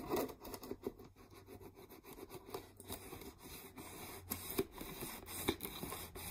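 Long nails scratch and tap along the rim and sides of a clear, mostly empty plastic peanut jar. Quiet, dry scratches and light clicks come in an uneven rhythm, with a hollow plastic tone around 380 Hz and bright scraping edges. A faint steady low hum runs underneath throughout.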